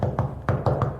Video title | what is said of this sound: 해운대 SH타워 오피스텔마루교체 부분변색 교체하기 상황설명포함#마루보수 #셀프인테리어 #강화마루 #마루들뜸 #원목마루 | 둔탁한 소리가 본드가 잘 붙은 소리입니다